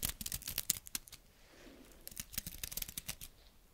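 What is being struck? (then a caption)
Pine cone scales. A single small, dry brown pine cone with woody scales, held close up, is scratched with long red nails. Rapid, irregular, dry crackling scratches and clicks, bright and sharp, start the clip, fade into a soft, quiet rubbing in the middle, then return as another burst of brisk scratching.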